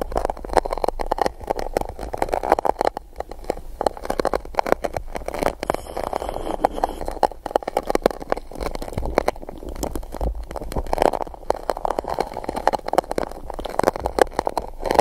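An empty gold-coated paper cup sits upside-down over the microphone, held in one hand while its base is scratched and poked with a small silicone spiky tool held in the fingertips. A dense, continuous crackling scratch fills the clip, hollow and papery with a mid-range body and a low resonant boom from the cup, broken by many rapid taps and pokes. The level stays fairly steady throughout with little high-frequency content.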